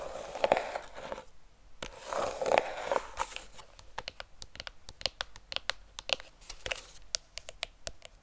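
A flat, hollow, rectangular Bliss cardboard eyeshadow palette, cream with a purple art-deco print, is held in both hands and scratched and tapped with long painted fingernails. Dry scratching and scraping fills the first few seconds, then gives way to a quick series of crisp, light, short taps.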